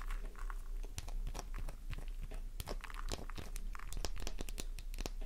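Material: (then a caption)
Soap. A solid pink flower-shaped soap bar held in a palm is scratched with long nails, producing fast, irregular scratchy crunches with sharp, bright clicks and crumbly crackling as shavings come off. A steady low hum sits underneath throughout.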